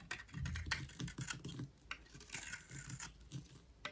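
A solid white rectangular bar of dry soap, held in hand, is shaved with a utility knife blade into dry curls. The result is quick, irregular, crisp scraping and tapping strokes with bright scratchy hiss and a soft low thump under each cut. The strokes are short and dry with almost no ring.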